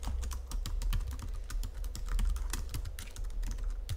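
Fingertips and nails type continuously on a full-size white Logitech keyboard with plastic keys resting on a marble surface. Rapid, bright plastic taps and clicks follow one another over a steady low rumble, each ending quickly.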